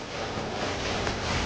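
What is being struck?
Nothing is struck.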